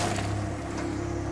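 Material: Nothing is struck.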